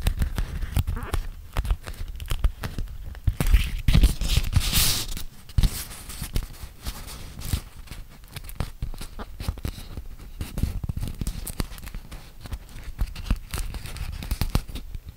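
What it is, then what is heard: Beeswax-coated cotton food wrap. A yellow printed beeswax-coated cotton food wrap is held in both hands close to the microphone while fingertips and short painted nails crinkle and pinch the stiff waxed cloth. Dense, sticky crackles and brief sharp snaps come in quick irregular bursts over a low rumble, with louder, brighter crinkling in the first half.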